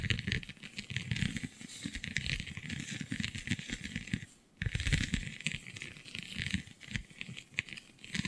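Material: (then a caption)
Vinyl. Long glittery nails scratch across a flexible, iridescent holographic scale vinyl sheet covered in raised, scale-like bumps. The result is a dense, continuous rattling scratch with bright, crinkly highs over a low rumble, pausing briefly near the middle before resuming.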